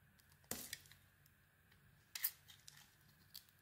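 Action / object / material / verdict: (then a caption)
scrape / solid soap bar carved with a small metal blade / soap / none. A solid black-and-white soap bar, held in the hand, is scraped and carved along its edge with a small metal blade. Two louder, bright scraping bursts stand out, with fainter crisp ticks and shavings scattered between them. The sound is quiet and high-pitched, with almost no low end.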